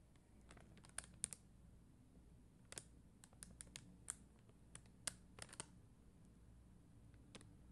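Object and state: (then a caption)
Plastic rhinestone sticker sheet. Long dark-green nails tap and scratch a flat sheet of red and clear faceted plastic rhinestone stickers on white backing. Quiet, sharp, bright clicks come in irregular bursts over a low steady hum, each tick dying away almost instantly.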